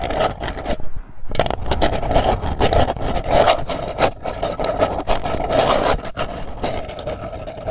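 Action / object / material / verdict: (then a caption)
scrape / round printed metal tin lid / tin plate / none. Long nails scratch and tap the lid face of a round, hollow, printed metal candy tin held in both hands. The result is a dense, continuous rasping scrape with a hollow metallic ring around 680 Hz, broken by a brief near-silent gap around the first second and small dips as the strokes change.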